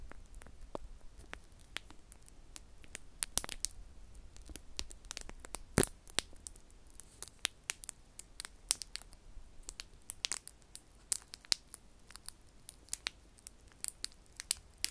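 Fingertips press and rub the shell of one small, round, solid mini cheese coated in yellow wax, about palm-sized, held in one hand close to a binaural microphone. Dozens of sharp, dry crackles and sticky clicks pop out brightly over a faint hiss and a low steady hum. Each snap dies away almost instantly.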